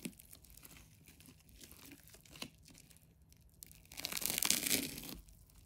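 A metal craft knife is drawn through a large solid ball made of many layers of colored plastic adhesive tape, held in one hand, as the blade scratches and slices into the tape. Soft, dry scratching and small crackles go on at low level, then a louder, bright, hissing tear swells for about a second as the blade cuts deeper before the sound drops back to quiet scraping.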